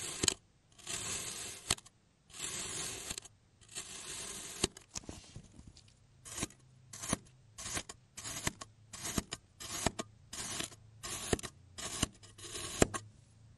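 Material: Kinetic sand.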